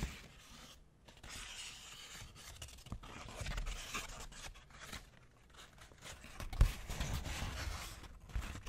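A wrinkled sheet of white paper is crumpled between the fingers close to the microphone. It makes continuous crackling and rustling with soft low thumps and a few louder crinkles.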